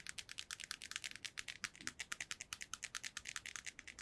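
Long nails tap a small, hollow, white hard plastic earbuds charging case held in both hands. About 31 quick, dry clicks ring out with almost no decay and a bright, high-pitched plastic tone.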